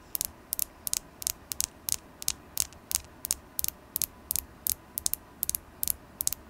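A carnelian crystal stone is tapped repeatedly in an uneven rhythm, often in quick pairs, for ASMR. Each tap is a bright, sharp, high-pitched click that stops instantly with no ring, over a quiet, steady low background hiss.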